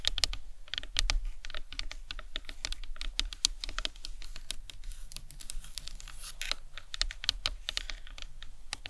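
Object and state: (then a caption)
Plastic skull model tapped with nails. Long nails tap and scratch the top of the cranium of a hollow plastic anatomical skull model resting on a towel. Quick, dry, bright clicks come in a steady, rapid patter with faint scratching between them. Each tap dies away almost instantly over a soft low rumble.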